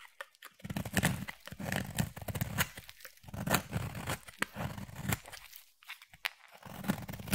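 A utility knife blade shaves curls off a solid white bar of soap with a pink tint. The result is a run of dry, crisp scraping and tearing strokes with a low, full body and a bright edge. The strokes come in quick bursts separated by brief silent pauses.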